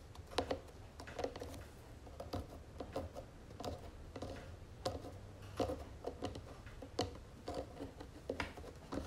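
Long fingernails on both hands tap rapidly on the sides of a round wooden jewelry box with gold trim. The result is a steady stream of quiet, dry, short clicks with a hollow woody tone around 480 Hz and brief bright edges. The taps die away almost instantly over a faint low rumble.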